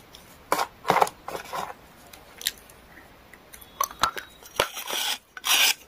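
A small solid gray pressed clay or chalk stick, held in the hand, is scraped along its edge with a metal knife blade, leaving shavings on the tray. The scraping comes as short, irregular, dry rasping strokes with a bright, crumbly texture and almost no low end. It ends with a longer, louder scrape.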